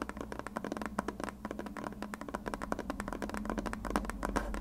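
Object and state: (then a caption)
Plastic glue bottle. A white, hand-sized plastic glue bottle with a blue nozzle, hollow and partly filled, is tapped and scratched with long red nails. The result is a dense, rapid run of short, dry clicks and scratches with a hollow tone around 210 Hz over a steady low hum, and each tap dies away almost at once.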